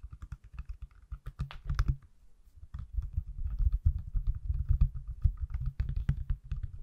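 Fingertips tap the back of an iPhone in a pale yellow/mint silicone case held up in the hands. The result is a quiet, irregular run of soft, dull, low thuds with very short decay, and a brief pause near the second second.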